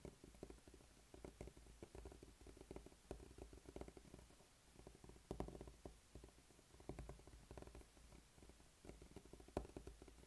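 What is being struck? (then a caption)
Rubber spiky massage ball. A small, solid, blue spiky rubber massage ball is rolled and rubbed under a flat palm and fingertips on a dark tabletop. It makes a low, rumbling scuff with soft bumpy patter and occasional sharper ticks as the spikes catch. The sound swells and fades irregularly throughout.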